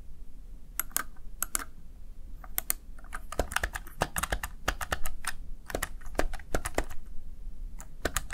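Fingertips tap the keys of a Razer Tartarus Chroma, a plastic backlit gaming keypad. The result is an irregular run of short, sharp, bright plastic clicks that fade quickly, with a few quick bursts, over a steady low hum.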